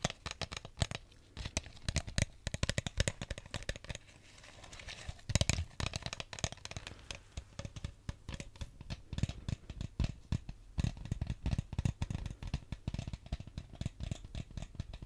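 An empty clear plastic drink bottle with a red cap and label is tapped and crinkled with fingers. Dense, rapid crackling and sharp taps with dull low thumps run throughout, with a brief quieter stretch just before the middle.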